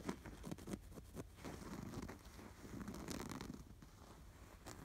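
Fingertips scratch the embroidery of a stuffed canvas pillow with an appliquéd sweater design. Quiet, low, rough scratching and rustling comes in short brisk strokes and longer dragging passes, with a few brief brighter scrapes. The sound is dry and dies away almost instantly after each stroke.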